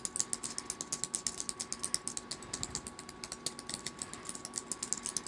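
Long acrylic nails tap and type rapidly on a small black plastic tablet keyboard, which sits in a purple faux-leather case on a fleecy blanket. A fast, uneven stream of bright, sharp plastic clicks dies away almost instantly, with little low end and a faint steady tone underneath.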